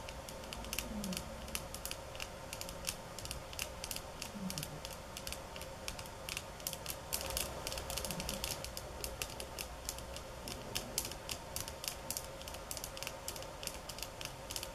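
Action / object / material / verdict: tap / bamboo stick mat / bamboo / none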